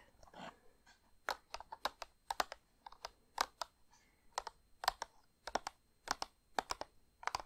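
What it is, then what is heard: Cardboard box of Christmas crackers. Long painted nails tap and scratch the front of a printed cardboard gift box of Christmas crackers, hollow and filled with crackers. A soft scratch opens the clip, followed by a quick series of sharp, dry, bright clicks with almost no ring.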